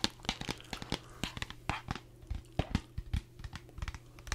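A green plastic Gatorade squeeze bottle with an orange cap, hollow and partly filled with liquid, is gripped in both hands and squeezed and shaken close to the microphone. About nineteen sharp, bright plastic crinkles and crackles come in quick succession, mixed with the slosh of the liquid inside. A low, steady hum runs underneath throughout.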